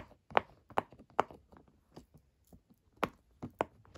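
Fingertips repeatedly press and pop the hollow bubbles of a flat, square, rainbow silicone pop-it fidget toy lying on a dark table. Five louder pops stand out among quieter ones at an irregular pace. Each is a short, dry, mid-pitched pop with almost no ring.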